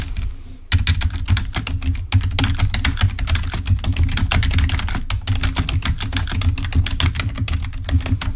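A full-size black plastic Microsoft wired membrane keyboard, lying on a white table, is typed on rapidly with the fingertips of both hands. After a quieter first moment, a dense, steady stream of short key clicks follows, with bright tops over a deep, muffled thud from each press.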